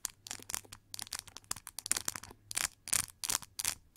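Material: Plastic.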